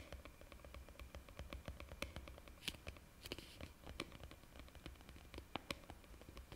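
Long painted fingernails tap and scratch the top of a green plastic screw lid on a white plastic jar held close to the mic. A quiet, rapid patter of short, dry clicks follows, with bright ticks and soft scratching over a low rumble.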